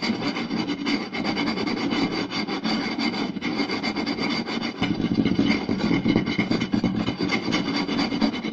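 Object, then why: Round wooden plate. Fingertips and short nails of both hands rapidly scratch and tap a round, solid wooden plate with a raised rim lying flat. The result is a dense, continuous rasping scratch with quick, dry taps blended in across a broad range from low-mid to bright highs. It grows slightly louder and busier in the second half.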